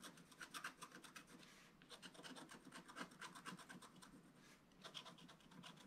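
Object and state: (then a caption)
Scratch art paper page. A wooden stylus scratches quickly near the bottom edge of a solid, flat, black-coated scratch art page about A4 in size. It makes rapid bursts of dry, bright rasping strokes, with brief lulls near two and four and a half seconds.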